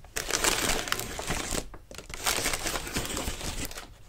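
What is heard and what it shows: Fingers grip, rub and scrunch the thin paper of a large, hollow, partly opened lime-green tissue paper lantern with a ribbed wire frame. Dense, bright crinkling and crackling run almost continuously, easing briefly around the middle before picking up again.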